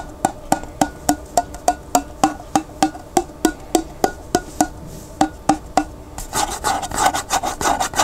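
Fingertips rub and scratch the white plastic lid of a large clear glass pickle jar, partly filled with water and held sideways. A steady series of short, dry taps with a hollow, woody tone around 770 Hz gives way in the last two seconds to faster, denser scratching with a brighter, raspy edge.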